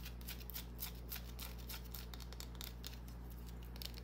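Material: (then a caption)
Soap. Long nails scratch the surface of a small, solid green bar of soap held in the hand. The result is a quiet run of brief, bright, irregular scratching strokes over a steady low hum.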